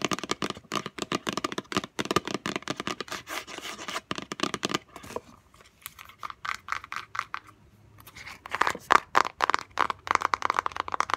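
Both hands tap fast with long natural fingernails on the lid top and corner of a small, closed, hollow white gift box made of textured paper-covered cardboard. The taps come as a dense, irregular stream of crisp, dry, bright clicks with no ring. They ease to quieter, sparser scratchy taps midway, then pick up louder again at the end.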